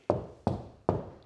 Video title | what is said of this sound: How To Install The HangSmart TV No Stud DIY Mount | we have a drywall behind us that has absolutely no studs. So you can hear that hollow wall in the background